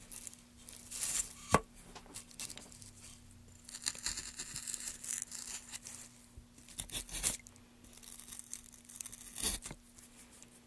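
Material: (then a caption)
Softwood. A gloved hand holds a solid pale softwood board while a small gouge carves grooves along the grain, scraping and cutting shavings. Bright, rasping, tearing bursts come in uneven runs with quiet gaps between them, and a sharp snap stands out near the start. A faint steady low hum runs underneath throughout.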